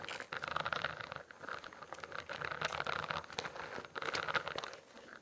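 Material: Plastic.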